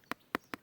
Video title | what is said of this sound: Reebok Graphlite Pro Retro | real Graphlite is very hard. And when you knock on that with your nail on your finger, it sounds like you're knocking on a glass.